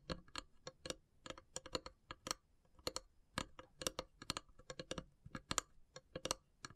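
Long silver nails tap along the top edge of a long, hollow, carved wooden incense box. The result is a quick, uneven run of dry, clicky taps with a bright, woody tone and almost no ring, like fast typing, with quiet gaps between bursts.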